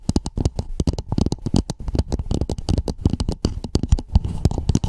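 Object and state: Plastic cap tapped and scratched with nails.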